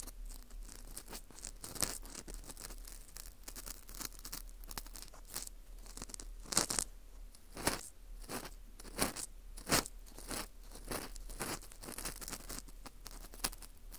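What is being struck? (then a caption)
Dried wheat gluten ring (fu) scraped with a plastic earpick. An orange plastic earpick scrapes inside the hole of a porous dried wheat gluten ring (fu) held in gloved hands. It makes a steady run of dry, crackly scratches with bright, crisp high-end bursts. Louder scrapes stand out around the middle of the clip.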